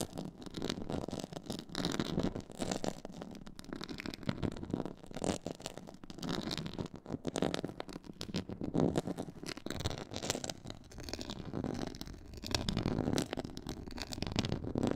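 Long nails scratch across a black, stitched, pyramid-textured faux leather board. The result is a steady, dense, muffled scratching and rubbing, weighted toward the low-mid range, with rising and falling bursts and only faint high detail.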